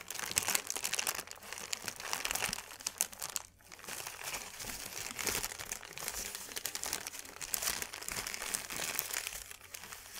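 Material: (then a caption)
Paper. A thin white paper sheet is crumpled and squeezed in both hands, producing a dense, continuous run of bright, crisp crackles with almost no low end. The crinkling stays busy throughout, with a brief quieter moment around the middle before it picks back up.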